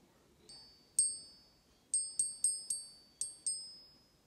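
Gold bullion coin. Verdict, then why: Real. A Canadian Maple Leaf gold coin is gently tapped on a surface for a ping test, producing eight bright, high metallic pings, each with a long ringing tone that fades between taps. Having already passed a neodymium magnet test, the coin is judged to be authentic gold.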